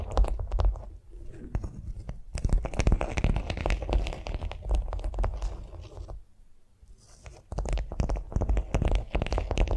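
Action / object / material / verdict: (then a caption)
scrape / beeswax-coated cotton food wrap on a vinyl mat / beeswax cotton / none. Long nails scratch and tap a flat beeswax-coated cotton food wrap lying on a vinyl mat, making dense, irregular crinkly crunches and sharp taps with a heavy low thump underneath. The activity grows busier after a short opening stretch, drops to near quiet around six to seven seconds, then resumes with quick, closely spaced taps.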